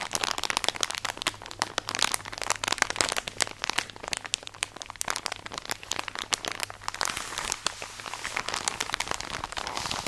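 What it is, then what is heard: Plastic bag of cotton pads. A tall, soft plastic drawstring package full of cotton pads is squeezed and scratched with long nails close to the mic. The result is a dense, bright stream of crinkles, crunches and sharp little scratches with no ring after each, over a faint low hum that fades out near the end.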